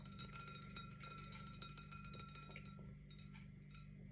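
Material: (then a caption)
Glass. Painted fingernails tap the glass body of a held-up Blossom Hill rosé wine bottle, which has a paper label and a screw cap and is partly full of pink wine. The result is a quick, uneven series of light clinks with a bright, bell-like ring that lingers between taps, over a steady low hum.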